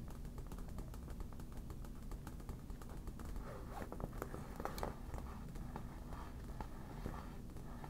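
Long black nails tap and scratch the shiny vinyl surface of a hollow, air-filled yellow smiley inflatable PVC beach ball in close-up. A quiet, steady stream of soft, quick taps mixes with light scratchy scraping, each sound dying away almost at once, with a dull, low-heavy tone and little bright sheen.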